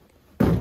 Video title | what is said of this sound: Haunted Orange Juice Plant - Stainless Tank Demolition Bid | I'm saying it sounds empty